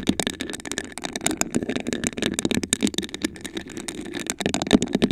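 Long acrylic nails rapidly scratch and tap a tall, hollow, iridescent glass vase with a raised honeycomb pattern, apparently empty and held in both hands. A dense, continuous stream of short, dry clicks and scratchy rasps carries a low-mid glassy body and bright ticking edges, with each tap dying away almost instantly.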